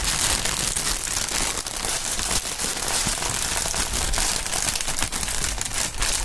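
A long clear polyethylene air-cushion strip with green print and hollow inflated chambers is held up, crinkled and shaken in gloved fingers. It makes a steady, dense stream of bright, crackling plastic crinkles with a soft low rumble underneath. The sound holds an even level throughout, with only a few brief dips.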